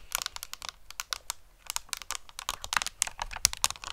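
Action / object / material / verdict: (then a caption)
tap / cardboard eyeshadow palette / cardboard / none. Long painted fingernails rapidly tap a handheld, hollow, flat rectangular pink-orange cardboard Too Faced eyeshadow palette with an embossed peach pattern. About twenty quick, dry, bright clicks come in uneven bursts with almost no ring or low end, sounding much like typing on a keyboard.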